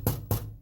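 Three low, hollow knocks from tapping around inside the metal driver-side door of a Winnebago motor home on a Workhorse chassis, with the metal inner panel back on. Each tap gives a short, dull thump with a brief rattle, revealing a loose part in the door panel or mechanism that would be heard going down the road and is then wedged with butyl tape to stop it.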